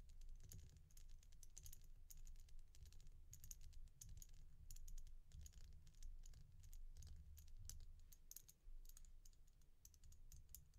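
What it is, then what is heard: Resin bead stretch bracelet. Long painted nails tap rapidly on a single resin bead stretch bracelet of solid glossy beads. The result is a dense stream of short, bright clicks that stop almost instantly, heard over a steady low hum for the whole clip.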